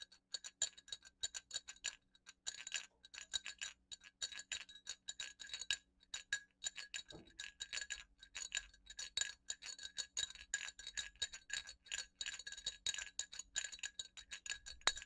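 A single small, hollow, round metal jingle bell is held in the fingertips of one hand and shaken or rolled. It makes a quiet, rapid, irregular stream of bright clicking jingles, pitched around 1.6 kHz and 3.8 kHz with higher shimmering partials. Each strike is very short and almost without ring, with brief gaps between bursts.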